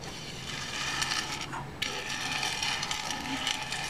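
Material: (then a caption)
Seed shells. Fingertips rake through a large loose pile of dry in-shell sunflower seeds on a white board, then pick up a few seeds and drop them back onto the pile. The result is a dense, bright, crackling rattle of shells that briefly thins to a hush before resuming with a sharp clatter and continuing unevenly to the end.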